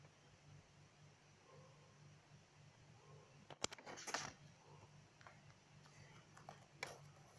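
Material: Paper.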